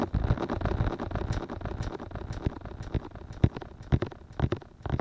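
Fingertips and short nails tap and rub the two soft white silicone ear-shaped pieces of a 3Dio binaural microphone. The result is a dense run of muffled, deep thumps and rustling close against the mic, with a few sharper, louder taps standing out in the second half.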